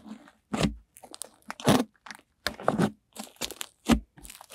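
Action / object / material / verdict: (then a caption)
scrape / soft butter slime blob / slime / none. An off-white blob of cream-white butter slime is lifted, folded and squeezed in both hands with long nails. It gives an irregular series of short, soft crunching and squelching bursts with brief silences between them.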